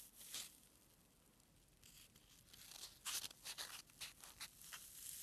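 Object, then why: Foam packing peanut. A single small, white, solid foam packing peanut is crushed and rubbed between thumb and fingers close to the mic. A brief squeaky crunch is followed by quiet rubbing, then a run of sharp, bright, squeaky tearing crunches in the second half. The sound is almost entirely high-pitched, with very little low end.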